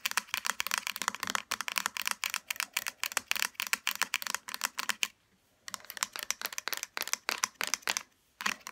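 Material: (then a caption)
Plastic. Long fingernails tap quickly along the body and black plastic cap of a small pink plastic hair serum bottle, which lies on its side, hollow and partly filled. The taps are dry, bright clicks with no low end and no ringing. They come in rapid runs, with brief pauses around 5 and 8 seconds.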